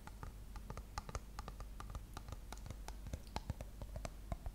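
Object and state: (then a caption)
Plastic shampoo bottle. Long nails tap and scratch the body of a dark plastic shampoo bottle with a gold label, held sideways. Quiet, rapid, short dry clicks with brief ticking peaks sit over soft scratching and a low steady hum, with each tap dying away almost instantly.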